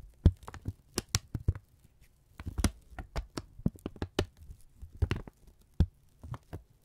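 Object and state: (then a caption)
Kraft paper strip being crinkled. A thin brown kraft paper strip, held in both hands, is folded, crinkled and stretched with the fingertips. It gives a quick, irregular run of sharp, dry crackles and snaps, each with a soft low thump beneath it and almost no ring, with brief quiet gaps in between.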